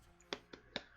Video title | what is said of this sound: BTS 12/07/2019 - Mi Note 10 Hands-On, & other stuffs before Christmas stuffs~ | dahil dun sa vibration motor niya, parang may hollow area dito sa ilalim